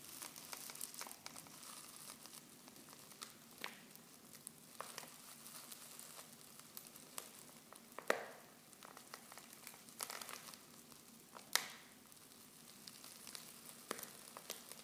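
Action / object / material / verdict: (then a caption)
shake / foil tea pouch with loose tea leaves / foil / none. Hands crinkle and squeeze a silver foil Pickwick tea pouch half full of loose tea leaves. A quiet, steady, bright crinkling and rustling continues throughout, broken by a few louder, sharper crackles as the foil is squeezed.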